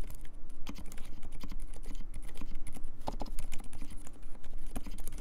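A compact mechanical keyboard with Dolphin switches and plastic keycaps is typed on quickly by both hands using the fingertips. The result is a dense, steady stream of short, muted, low-heavy clacks, each keypress a sharp onset that dies away almost instantly.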